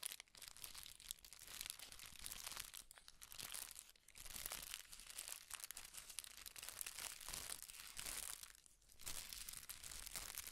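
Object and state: Tissue paper.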